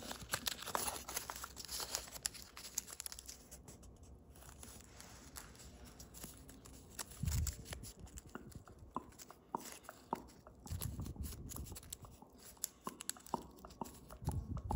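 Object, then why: Thin metallic foil paper. A small square of thin metallic foil origami paper, white on the back and shiny blue on the front, is held in both hands and folded and creased with fingertips and fingernails. Dense, quick crinkling and crisp creasing crackles come in uneven bursts, with soft low thumps from handling the sheet.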